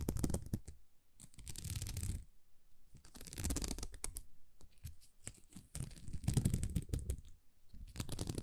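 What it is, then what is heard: Plastic rhinestone sticker sheet. Long nails scratch across a thin, flexible sheet of small plastic rhinestone stickers, making bursts of dense, gritty scratching and crackling. The scratching has a low, muffled rumble under a bright, hissy edge, and quieter pauses fall between the passes.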